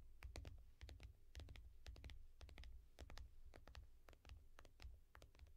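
Long fingernails of one hand tap and click on the glass screen of a small tablet in a yellow foam case held at an angle. Rapid, sharp, bright clicks arrive in quick irregular bursts over a steady low rumble, each tick dying away almost at once.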